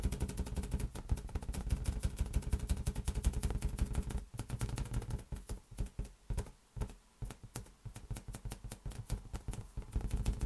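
A large, hollow, inflated green latex balloon is patted and tapped with the fingers in a fast, dense flurry of soft, deep, drum-like thuds. The low, booming taps die away quickly, running almost continuously for about four seconds before thinning into sparser bursts separated by brief quiet gaps.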